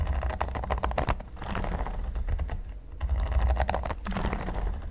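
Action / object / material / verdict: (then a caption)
tap / silicone pyramid mat / silicone / none. A red silicone pyramid mat, flat and solid, is tapped rapidly with fingertips and nails. The result is a dense run of soft, dull taps with a deep low thump under them and little brightness, in two bursts separated by a brief lull.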